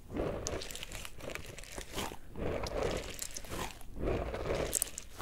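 A small yellow pineapple-shaped squishy stress ball with a stretchy rubber skin, gel bead filling and a green leaf top is squeezed and kneaded with fingertips. Soft, squelchy crunching and crinkling comes in three slow waves with bright, crackly bursts, over a low rumble.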